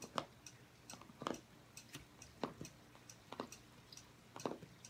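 Fingernails tap in quick succession on the cardboard cover of a striped hardcover journal lying flat on a table. The taps come as short, dry clicks with a hollow mid-range knock and little ring, spaced irregularly over a quiet, soft background.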